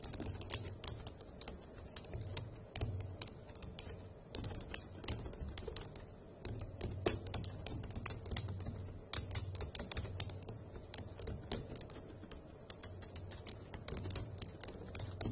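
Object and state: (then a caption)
Plastic laptop keyboard being typed on. Long acrylic nails and fingertips type on the hollow plastic key caps of a dark grey laptop keyboard, making a steady stream of sharp, bright clicks that die away almost instantly. A low, steady hum runs underneath, and a faint sound that may be a bird can be heard in the background.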